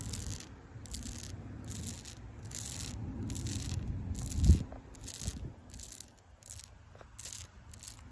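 Fingertips and long pink acrylic nails scratch and rub the rough bark of a solid tree trunk. A steady series of short, bright, hissy scrapes repeats at an even pace over a low, rumbling bed, with one louder dull bump near the middle.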